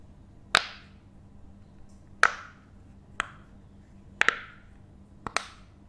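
A hand-sized, rainbow bottle-shaped silicone pop it fidget toy with thin, hollow, empty bubbles is held in one hand and tapped and pressed with the fingertips and nails of the other. Seven sharp, bright pops and taps come at uneven intervals, some in quick pairs, each with a brief airy tail. Between them is a quiet background with a faint low hum.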